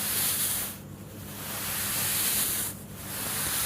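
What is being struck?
Nothing is struck.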